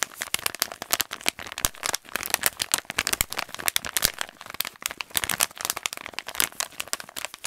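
An empty, hollow kraft paper stand-up pouch is crumpled and bent with both hands and fingers. It makes a continuous stream of sharp, bright crinkles and crackles that decay almost instantly, with very little low end.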